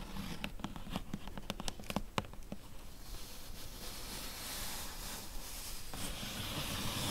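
Long yellow-tipped nails tap on the top of a flat, closed, medium-size hollow corrugated cardboard box lying on blue fabric, giving about 13 quick, dry, hollow taps over the first two and a half seconds. The nails then switch to scratching the top surface, a steady papery rasp that grows slightly louder toward the end.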